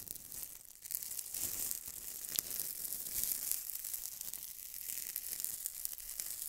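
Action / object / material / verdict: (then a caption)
scrape / styrofoam ball ornaments / styrofoam / none. Fingernails scratch two white styrofoam-ball snowman ornaments held close to the microphone. The result is a quiet, steady, bright scratching and crinkling hiss with almost no low end, dotted with small sharp squeaky peaks.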